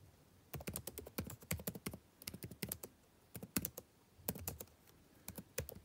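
Fingertips type on the plastic keys of a backlit laptop keyboard set in a dark laptop body. The quiet taps come in quick bursts separated by short pauses, each a soft, dull low thud with a bright plastic tick that dies away almost instantly.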